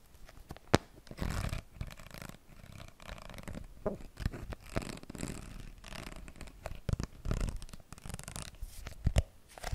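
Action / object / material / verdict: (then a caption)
scrape / spiral notebook with cardboard cover and wire binding / cardboard / none. A small spiral notebook with a wire binding and cardboard cover is held up and tapped and scratched with long nails on its cover and spiral. Close, dull taps mix with rough, scratchy rustling, mostly low and muffled, with a few sharper clicks standing out.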